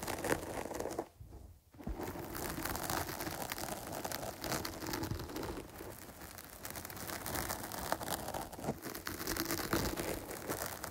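Long nails scratch over the top of a medium-sized, dark porous foam microphone windscreen while the other hand holds its side. The result is a dense, continuous crackling scratch with a bright, gritty texture. There is a brief near-silent pause about a second in, then the scratching resumes steadily to the end.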